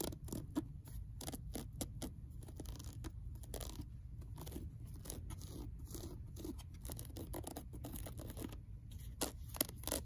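Long nails scratch and crinkle the torn paper edge of a worn old paperback book spine resting on a shelf. Dense, rapid dry scratches and crackles with sharp bright ticks sit over a steady low rumble at an even, quiet level, with a few louder snaps near the end.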